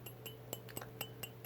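An old 1996 Coca-Cola brand dinnerware mug, marked dishwasher and microwave safe, is tapped eight times in quick succession. Each tap gives a short, bright, glassy clink with ringing overtones high above a tone near 434 Hz, fading within a fraction of a second. A steady low hum runs underneath.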